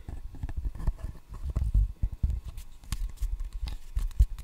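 Fingertips tap the solid red rubber face of a wooden ping pong paddle held close in front of a microphone. The rapid, irregular taps make soft, dull, low thumps that die away almost at once, with little brightness.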